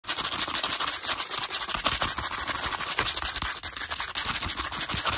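The bristles of a teal hairbrush scratch fast and aggressively across the edges of a stack of small, hollow, translucent pastel plastic cases in pink, blue and yellow that appear empty. The result is a continuous bright, hissy rasp made of rapid, closely packed strokes, with almost no low end and no lingering ring.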